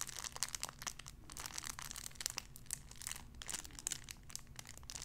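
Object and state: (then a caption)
Cellophane wrapper. A clear cellophane wrapper around a small sun-shaped figure is squeezed and crinkled. It makes a dense, continuous stream of bright, crisp crackles and snaps over a faint low hum. There is no ringing between the sharp pops.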